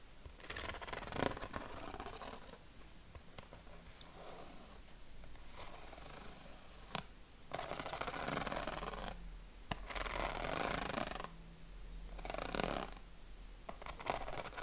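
Fingernails scratch along the ribs of a yellow corrugated craft paper sheet held against the chest. Bursts of dry, raspy, broadband scratching come in sweeps of a second or two, separated by brief quieter gaps. A few sharp clicks stand out along the way.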